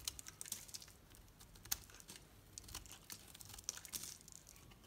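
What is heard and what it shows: A solid green Dalan bar soap, its painted coat mostly worn away, is held in both hands and shaved lengthwise with a metal knife into curls. Quiet, bright, crisp scraping and crackling comes in a rapid series of short, dry bursts with almost no ring, as the curls peel away.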